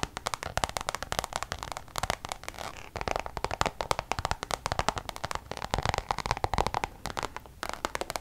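Long colored acrylic nails tap and scratch across a small, flat, hollow brown checkered Louis Vuitton Damier coated-canvas wallet held up in the air. The result is a quick, uneven run of dry, sharp clicks with scratchy rasps between them, each tap dying away at once with a papery mid-range tone around 900 Hz.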